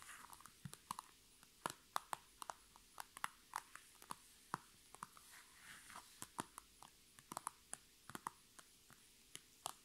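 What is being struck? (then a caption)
PVC plastic makeup bag. Long red nails tap and scratch the crinkly sides of a medium-sized holographic, transparent PVC cosmetic bag filled with makeup items and standing on a table. About thirty quiet, sharp, crinkly taps sound in an uneven rhythm, each ending almost instantly, with a thin plastic scratching hiss between them.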